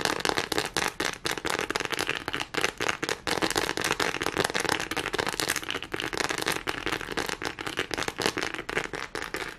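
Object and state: Silicone textured pad.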